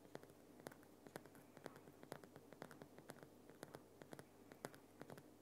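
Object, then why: Rock salt lamp. Fingers and nails scratch and tap the front and sides of a large, solid lump of glowing pink Himalayan rock salt in a salt lamp. Quiet, close-up scratching runs throughout, punctuated by sharp, dry taps that recur roughly every half second and die away almost instantly. A faint, steady low hum sits underneath.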